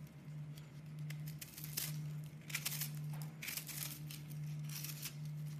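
A crumbly, porous, hand-sized pink-and-white soap block is held in the hands and scraped and carved with a metal utility knife blade, so flakes crumble off. Bright, dry scratchy scrapes and crunches come in short bursts over a steady low hum.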